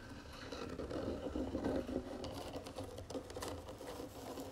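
Long fingernails tap and scratch the lid and then the sides of a round wooden jewelry box with gold trim. The result is soft, quick, irregular tapping mixed with dry scratching, with a hollow, mid-pitched body to the taps and brief bright clicks.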